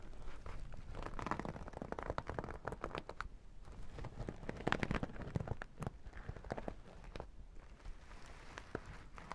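Long nails scratch the sequin strip on top of a sequin and holographic vinyl makeup bag held lengthwise, then tap its vinyl sides. The result is a steady, dense crackly rustle broken by sharp, dry clicks, sitting over a soft low rumble throughout.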